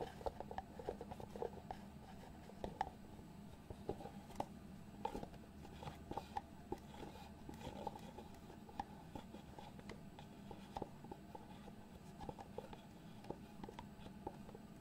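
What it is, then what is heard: Cardboard box lid. Fingertips tap and rub the lid of a small, hollow white cardboard box, producing about 33 quick, dry taps with a hollow mid-range knock near 770 Hz. The taps die away almost at once over a quiet, steady low hum and soft rubbing.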